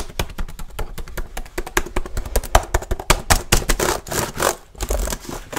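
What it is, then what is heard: Plastic laptop keyboard. One hand types quickly with its fingertips on a black plastic laptop keyboard. A rapid, uneven run of short, dry plastic taps and clacks sounds throughout, with soft low thumps under brief bright clicks. A few stretches blur into a faint scraping rustle between the keystrokes.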